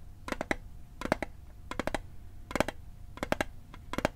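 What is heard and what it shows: A small, hollow metal Altoids mint tin, held over a microphone, is tapped with fingertips and nails in quick bursts of three or four taps. The taps are dry, bright clicks with a faint metallic ring around 600 Hz that dies away almost instantly.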